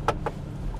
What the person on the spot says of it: they're plastic, but because it's hard and smooth, it almost gives you the impression of aluminum until you knock on it.